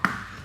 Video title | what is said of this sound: HELM FULL FACE TER-WORTH IT, HARGA 400 RIBU! REVIEW LENGKAP JITSU AIR-1 - HELM PALU MURAH | helm ini bahannya termoplastik tapi kandungan termoplastiknya Saya yakin padat banget